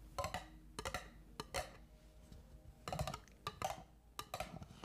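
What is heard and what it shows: Long acrylic nails tap and scratch an apparently stacked set of orange disposable plastic party cups, held upside down, hollow and empty. Short, hollow, clicky taps come in irregular clustered bursts with brief bright scratching between them, and each hit dies away quickly.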